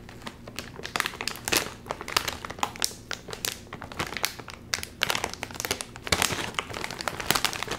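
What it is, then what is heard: Metallized plastic chip bag being crinkled. Fingers crinkle and pull at the seam of a full Doritos chip bag made of metallized plastic film. The result is a dense run of sharp, bright crackles and crinkles, with louder bursts as the film is tugged.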